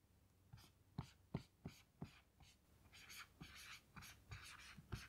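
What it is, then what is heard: Marker writing on a small melamine whiteboard. A blue dry-erase marker writes text on a small melamine lap whiteboard lying flat, its tip squeaking and tapping on the smooth white surface. Short, sharp taps with low thumps mix with longer bright squeaky strokes, in an uneven rhythm.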